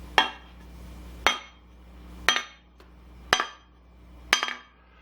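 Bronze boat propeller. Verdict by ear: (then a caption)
Dead. A bronze propeller from a small sailboat, missing one blade that fell off, is struck five times at a steady pace. Each strike gives a short, dull clink that dies almost at once, with no bell-like ring. Its bronze is dead and corroded because the owner did not keep up with the zinc anodes.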